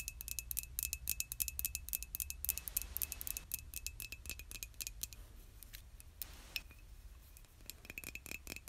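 Long nails tap quickly on the body of a hollow, white glazed ceramic mug held in both hands. The result is a rapid, uneven patter of short, bright clicks with almost no ring, over a low steady hum and a faint constant tone. Soft brushing hiss swells in twice, near 3 and 6.5 seconds.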